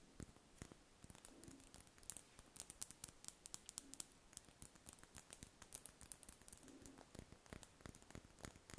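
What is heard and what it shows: A large, solid, cream-coloured spherical wax candle held in the hands is scratched and tapped with long red nails. The result is a quiet, steady run of sharp, dry clicks and scratchy scrapes with bright high edges and almost no ring.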